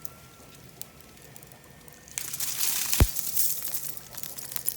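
A soft, bendy living flower, frozen in liquid nitrogen, is crumpled after being taken out. A quiet stretch gives way around the two-second mark to a dense, bright crackling and crunching, with one sharp snap near three seconds. The frozen flower shatters brittle and glass-like because the water inside it has frozen.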